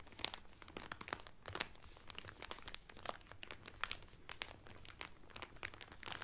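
Both hands press and crinkle the clear cellophane wrapper around a blue Carnival cotton towel folded flat. The result is a dense, continuous run of sharp, bright crackles and rustles, with no low rumble beneath them.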